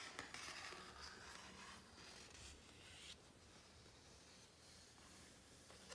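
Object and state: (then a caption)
Glossy paper book page. Fingertips of both hands rub and scratch across the glossy coated paper pages of a large open hardcover book. The result is a quiet, steady, bright, hissy rubbing and scraping texture, with a brief sharper swipe near the middle and a few louder strokes toward the end.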